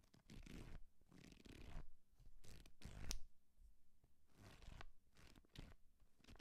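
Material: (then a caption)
Paper. A small, thick paperback book is held in the hand while fingertips and nails scratch and tap along its page edges and cover. The result is a quiet run of soft, papery scratching bursts with a low, muffled body and faint bright hiss, broken by a few short, sharp taps that die away almost at once.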